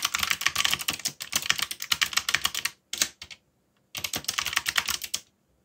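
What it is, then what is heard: Plastic mechanical keyboard. Fingertips type on a backlit mechanical keyboard with dark plastic keycaps, producing rapid, bright clicky keystrokes in bursts. The typing pauses briefly near the middle, then resumes before stopping.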